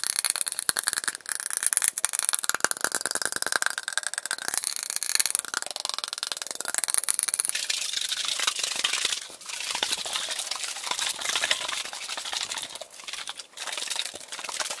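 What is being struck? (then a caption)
Tall aluminum drink can. A tall, hollow aluminum Arizona iced tea can, fill level unclear, is tapped on its top and sides with fingertips and nails and shaken. The result is fast, dense, bright tapping and clicking with almost no low end. Around the midpoint it turns into a softer, steadier rattling scrape.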